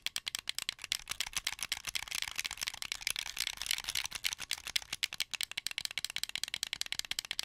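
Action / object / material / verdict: tap / plastic game controller / plastic / none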